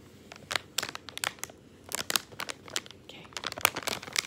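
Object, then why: Plastic candy bag with gumballs. A small, colorful, crinkly plastic candy bag, partly full of gumballs and lying on a wooden table, is pressed, rubbed and crinkled by fingertips. The result is a run of short, bright crackles and crinkles with quick gaps between them. There may be a faint rattle from the gumballs inside.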